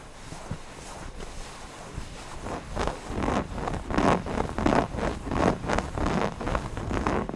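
Fingertips rub and scratch the appliqué eyes of a stuffed cotton owl cushion. Soft, faint rustling builds into a series of rhythmic, scratchy fabric strokes with a dull, muffled body, each burst fading quickly.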